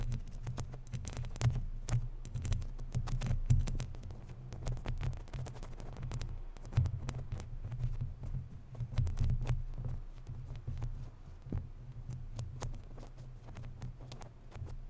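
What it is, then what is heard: Metal mesh microphone grille scratched with fingernails. Long natural nails scratch the lower part of a round, hollow, woven metal mesh microphone grille. The scratching comes through as a deep, throbbing low rumble with a hum near 130 Hz, dotted with rapid sharp crackling ticks that flash up into the highs. The texture stays busy and uneven throughout, swelling and easing without clear pauses.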